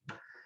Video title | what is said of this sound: AP 2022 Chapter 19 gibbs | if you listen it mostly sounds empty and that's because it absorbs water from the air